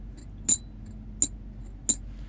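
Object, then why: Silver bullion coin. A 2015 Rwanda water buffalo silver bullion coin is sounded three times, giving three short, bright pings with a high ring that dies away almost at once. Each ping stands clearly above a low, steady background hum.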